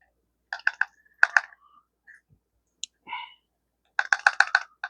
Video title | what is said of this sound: STRONGARM, A BK2, AND A BK19!!!!TEMU KNIVES!!! #edc #ranchlife #survival #blade #bushcraft #outdoors | you got to shake it hard to make it make a rattle so it's not bad